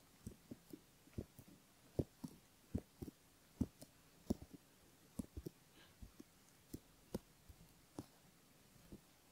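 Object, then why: Silicone ear model scraped with a bamboo ear pick. A bamboo ear pick scratches the inner folds of the outer ear on a silicone right ear model while fingertips hold the ear. Soft, close, irregular scratchy taps and rubs sound over a very quiet background, each brief with little ring, mostly low and muffled with faint bright clicks.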